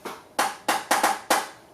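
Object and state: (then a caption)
Carbon fiber bike frame. Six taps on the carbon fiber frame of a 2018 Merida Reacto 6000 road bike give short, hollow knocks with a mid pitch near 800 Hz that fade quickly. The tone is dull and plasticky rather than metallic, even though the frame is very strong and stiff.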